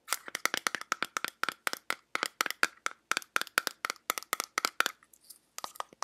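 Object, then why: Small metal tin. Fingertips and long nails tap and scratch the lid and sides of a small round teal metal tin. Quick, dry, bright clicks come in steady bursts with a hollow tone near 1.4 kHz and almost no ring. Toward the end, a short stretch of soft scratching interrupts the tapping before it resumes.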